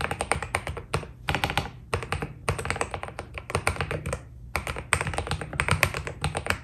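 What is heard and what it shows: A white Keydous NJ80 mechanical keyboard with PBT keycaps is typed on with the fingertips of both hands. Rapid, dense keystrokes with a low thock body and bright clicky tops come in bursts, broken by brief pauses. Each press is short and dry, with almost no ring.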